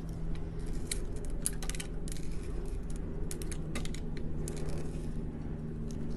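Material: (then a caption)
Soap. A hand-sized solid blue soap bar with an orange glitter layer is held in the hand and scraped and cut with a metal utility knife blade. The scratching makes a steady stream of dry, crisp ticks and crackles with bright, high edges. A low, constant hum sits underneath throughout.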